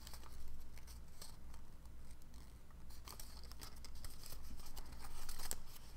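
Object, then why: Folded origami paper sheet. A small folded shape of dark blue origami paper is held in both hands while fingertips pinch, crease and rub its folds. Sharp, bright paper creasing and crinkling crackles come in quick, irregular bursts over a steady low hum.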